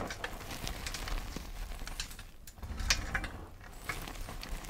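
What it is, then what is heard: Crushed gym chalk powder. Both hands press, squeeze and crumble a large mound of mostly crushed pale yellow gym chalk powder with small crumbs on a dark tray. The sound is a quiet, steady stream of soft, dry crunching and brief bright crackles over a low muffled rumble, with a sharper crisp snap near the middle.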